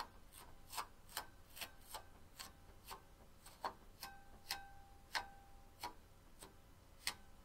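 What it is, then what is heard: Onyx stone bowl tapped with fingernails. Long pink-painted nails tap and scratch along the rim and outer wall of a medium-sized, hollow, empty banded onyx bowl resting on a small rug. A steady series of sharp, bright clicks sounds over soft scratching, some taps leaving a brief, faint ringing tone from the stone.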